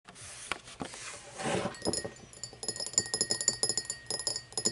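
Long blue-painted fingernails scratch and tap an empty, hollow, tall cut-crystal glass tumbler standing upright on a wooden table. Soft, hissy scratching strokes give way to a quick run of sharp, bright clicks that ring only briefly, with a faint steady tone underneath.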